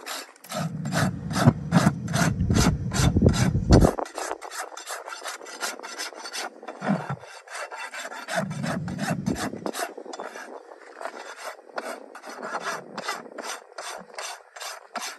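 A steel farrier rasp is drawn repeatedly along the solid keratin outer wall of a horse's front hoof resting on a metal hoof stand. Quick, rhythmic rasping strokes give a bright, gritty scrape, with a heavy low rumble under the first few seconds before the strokes turn lighter and thinner.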